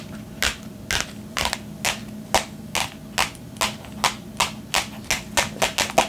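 A flat, hollow, colorful printed cardboard box is held against the chest and tapped fast with long painted nails. It produces a steady series of sharp, crackly, bright taps that come slightly quicker toward the end, each dying away almost at once over a faint low hum.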